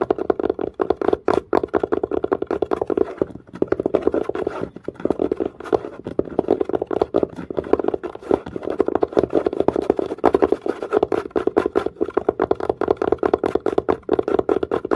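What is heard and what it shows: Long nails and fingertips tap fast and lightly scratch the pebble-grain surface of a dark, padded, curved leather or faux-leather case. The result is a dense, continuous run of short, dry taps with a warm midrange body and scratchy grain texture between them.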